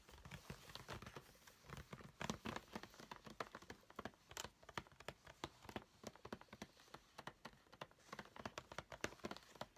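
A flat cardboard nail-charms kit box lying on a table is tapped quickly with the fingernails of both hands. The result is a steady, quiet patter of short, dry clicks and light papery taps with almost no ring, occasionally rising into slightly sharper, brighter hits.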